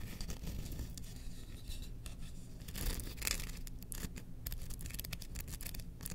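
Long painted nails scratch along the length of a long, thin, solid wooden spoon handle with pyrography designs, held horizontally in both hands. Quiet, dry rasping strokes with bright, brushy edges come and go over a steady low hum, with slightly stronger scrapes near the middle.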